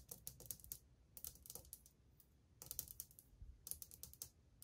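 Long painted fingernails of one hand tap fast on old glazed ceramic subway tiles set flat and solid on a wall. The taps come in quick bursts of bright, dry clicks that stop at once with no ring, over a soft low rumble.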